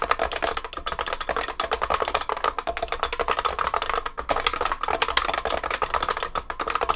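Both hands type continuously with their fingertips on a large vintage beige IBM 3278 beam spring keyboard with plastic keycaps and a metal case. A rapid, steady stream of sharp, clacky keystrokes with a bright edge and a ringing tone near 1 kHz fills the clip, each click dying away almost instantly.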